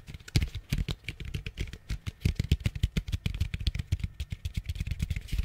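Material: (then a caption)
Plastic. Fingernails tap rapidly on the base and walls of an orange hollow plastic pumpkin bucket held close to the mic. Each tap gives a short, hollow low thump with a bright clicky tick on top, dying out almost at once. The taps run in an uneven, continuous patter.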